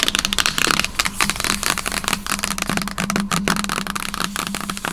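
Long nails tap and scratch the lid of a large, hollow white cardboard MacBook box, which is then held with both hands. A dense run of crisp, bright taps and scratchy rasps sounds with a slightly hollow tone, while a faint steady low hum runs underneath.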